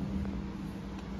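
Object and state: Nothing is struck.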